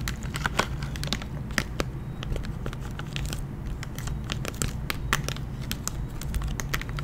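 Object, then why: Clear plastic blister pack on a cardboard card. Long nails tap and scratch the clear plastic blister of a gummy bear lollipop pack, with the candy inside and the plastic set over a cardboard card, held close to the mic. Sharp, bright clicks and crinkly scratches come in rapid, uneven bursts over a steady low rumble.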